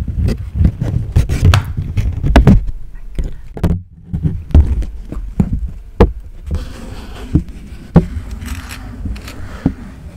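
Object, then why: Paper banknote. A thin, flexible Japanese paper yen banknote is held flat over a microphone grille and rubbed and scratched with fingertips. Close, muffled rustling and scraping come through as deep, dry thumps with almost no brightness. Each contact dies away at once.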